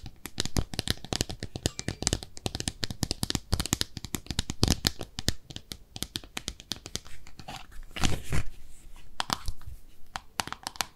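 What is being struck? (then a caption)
Small ceramic tub-shaped soap dish. Long nails scratch and tap over a small, empty pink speckled ceramic bathtub-shaped soap dish as it is turned and held at different angles, including the underside. A rapid, dense series of crisp, dry scratches and clicks sounds, each very short with no ring, bright and crackly with a low thud underneath.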